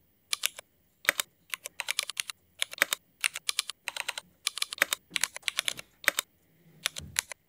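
Fingertip typing with both hands on a mechanical keyboard with black Cherry MX ABS plastic keycaps, as a typing test. Quick bursts of sharp, bright, clacky keystrokes come in short clusters separated by brief pauses, each stroke dying away almost instantly. A faint low rustle sits under the final cluster.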